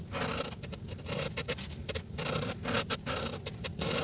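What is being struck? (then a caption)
Felt-tip marker on a paper page. A red Sharpie felt-tip marker colors a flat paper page in a coloring book held in place on a table, its tip rubbing and scratching across the paper in short strokes. The result is a continuous run of dry, scratchy strokes with bright hiss, broken by brief gaps between strokes, over a steady low rumble.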